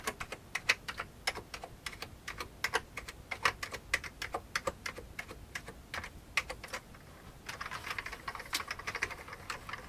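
Fingertips type on an old beige plastic computer keyboard, pressing keys including the space bar. Rapid, bright, clacky keystrokes come in irregular bursts with short, dry clicks. Near the end the strokes turn into a denser flurry of quieter taps.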